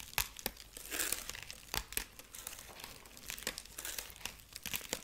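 Long nails scratch the dry husk body of a dried corn husk rabbit figurine near its arm and carrot. Brittle crinkling and crackling come in quick bursts, with a few sharper snaps among them. The sound is mostly bright and airy, with little low end.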